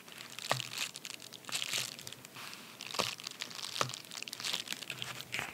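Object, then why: Padded paper bubble mailer. A white, medium padded paper bubble mailer, torn open at one end and lying flat on a towel, is rubbed and pressed with the fingertips and short nails of both hands. This produces steady, bright crinkling and crunching, with several sharper crackles standing out from the rustle. The crinkles are dry and short, with almost no low end.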